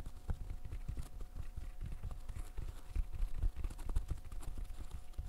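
Fingertips in fishnet gloves press the hollow bubbles of a green silicone pop-it fidget toy. A steady run of soft, dull, low pops and taps follows, each one short with almost no ring.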